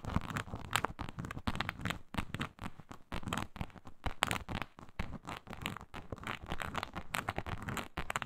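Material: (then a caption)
Synthetic leather. Long pointed nails on both hands scratch across a flat, iridescent faux snakeskin mat of embossed reptile-pattern synthetic leather. The result is a dense run of quick, dry, crackling scratches with a low rumble and no ring. The strokes swell and fade in uneven bursts throughout.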